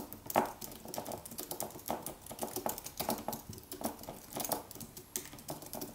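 A slim Apple wireless keyboard with an aluminium body and white plastic keys, resting on a white desk, is typed on with the fingertips in continuous taps. The result is a steady run of quick, light plastic clicks with a woody tone around 800 Hz and bright edges, each dying away almost at once, with a few louder strokes standing out.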